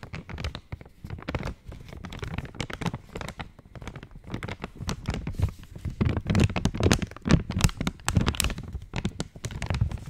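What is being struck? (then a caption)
Foil-lined plastic chocolate wrapper. An opened purple Cadbury chocolate wrapper made of foil-lined, metallized plastic is tapped and scratched with long nails. The result is a dense, continuous run of crinkles, crackles and short dull taps, heavy in the low end, each dying away almost at once. The handling grows louder and busier in the second half.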